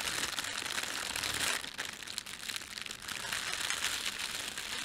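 Fingertips rub and pinch the film of a thin red printed plastic bread bag laid over a white plastic bag, producing a steady, bright crinkle. The sound is dense and hissy, mostly high frequencies with almost no low end. It softens briefly around the middle before building back up.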